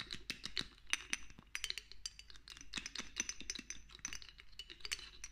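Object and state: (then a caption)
Glass dropper bottle tapped with nails. Long nails rapidly tap and click on a small amber glass castor oil dropper bottle, partly filled with oil and held in one hand, while the dropper is lifted and clinked against it. The result is a dense, fast run of bright, dry glassy clicks and clinks with almost no ring, at a fairly quiet level.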